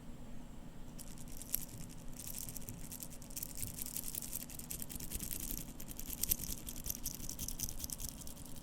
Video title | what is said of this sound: ASMR - Seiko SBDC053 Watch Sounds (Whispers, Tapping, Scratching, and Turning) | Now the bracelet is jingly, just a bit. However, it's a very dense sounding jingly sound